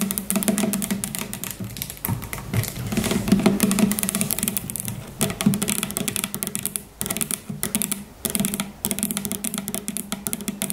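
Long natural fingernails tap rapidly and irregularly on the sides of a standing, medium-sized, hollow Faith in Nature plastic shampoo bottle that appears filled with liquid. The taps make bright, crisp clicks over a dull, hollow tone around 195 Hz, each dying away almost at once. The tapping runs continuously with a few brief pauses.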